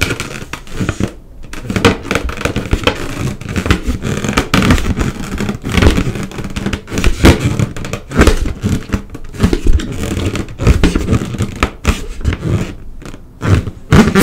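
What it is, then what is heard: Latex balloon. A single large, hollow, air-filled yellow latex balloon is tapped and rubbed across its surface with an index fingertip. Many quick, dull, low thumps mix with squeaky, scraping rubs against the rubber, and each sound stops almost at once.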